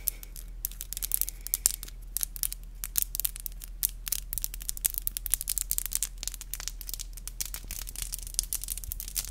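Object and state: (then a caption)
Acrylic nails tapped together. Long black glossy acrylic nails are tapped and clicked together, nail on nail, in a rapid, uneven stream of sharp, bright clicks. Each click dies away almost instantly over a steady low hum.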